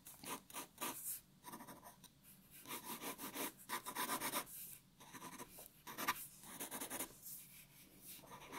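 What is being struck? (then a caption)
Graphite pencil on a paper sheet. A black graphite pencil, held low, scratches shading and lines onto a white A4 paper sheet lying flat on a wooden table. The quiet, dry, rasping strokes come in quick bursts of bright scratching with short pauses between, and a faint tone sits near 1 kHz.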